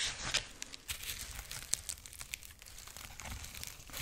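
Long nails scratch and rub the dry husk ears and head of a dried corn husk rabbit figurine held up close. The result is a steady, bright, papery crinkling and crackling, dotted with sharp little snaps and scrapes that stop short with no ring.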